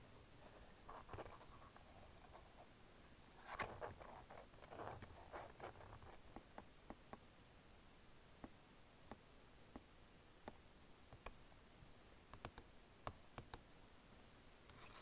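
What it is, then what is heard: Plastic keyboard and touchpad tapped and scratched. A long nail taps and scratches across the touchpad and click buttons of a black plastic Logitech wireless keyboard. Soft scraping rustles give way to sharp, dry plastic clicks that stand out clearly and stop almost at once.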